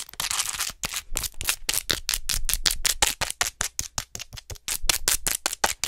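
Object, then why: Plastic acupuncture model doll. Long nails tap fast and scratch along the back of a hollow white plastic acupuncture human model held upright near the mic. A brief bright scratch opens the clip, followed by a rapid series of sharp, dry clicking taps with almost no ring, the sound bright and hollow.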